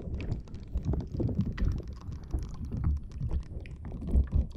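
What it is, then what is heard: Rubber spiky ball. A green rubber or silicone spiky puffer ball, held in both hands, is squeezed and scratched with long dark-blue nails as its rubbery spikes flex. The result is a steady run of dense, muffled, low squishing and scratching sounds with soft rubbery rustles and no bright tones.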